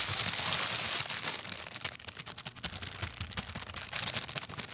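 A large, thin, empty clear translucent plastic bag is bunched up and squeezed with the fingertips right beside the microphone. It opens with a dense, steady bright crinkling hiss, then breaks into many sharp, irregular crackles and pops that fade quickly, all high and airy with almost no low end.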